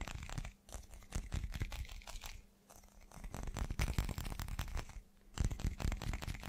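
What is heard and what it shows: A hand-sized solid chunk of translucent teal glass is tapped and scratched rapidly on its faceted surfaces with the fingertips and short nails. Dense bursts of quick, dry taps and crisp scratchy clicks come in runs separated by brief lulls, with a heavy low thump under bright clicky edges. Each hit dies away almost at once.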